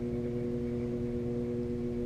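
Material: Nothing is struck.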